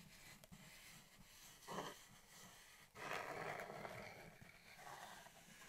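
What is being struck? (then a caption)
Cardboard shipping box. Long painted nails and fingertips tap and rub the flat printed top of a hollow USPS Priority Mail cardboard box with its lid open. Quiet, papery scratching gives way to a brief, brighter swell of rubbing near 1.8 seconds. From about 3 seconds on, the rubbing turns louder and more sustained.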